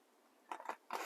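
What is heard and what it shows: A loaf of carrot and herb damper bread is tapped several times, giving short, hollow, dry knocks with a brief, muffled ring. The hollow sound shows the damper is baked through and done.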